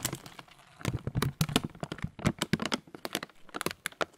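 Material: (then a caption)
Plastic. A transparent, thin plastic bag partly full of oat muesli is crinkled and squeezed in both hands. It gives a quick series of sharp, crackling crinkles with a dull low crunch underneath and bright rustling on top. Each burst stops almost at once, with short quiet gaps between them.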